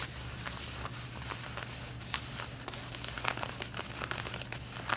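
Long red-painted nails scratch the front waist area of light blue denim jeans being worn, making a steady dry rasp with bright, crackly scraping strokes. A constant low hum sits underneath the fabric scratching throughout.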